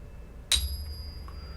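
A half dollar or other old silver coin sits in a ping tester and is slapped or tapped once with a small stick to hear its resonance and check whether it is real. A sharp strike gives way to a thin, high ringing tone that lingers over a low background hum.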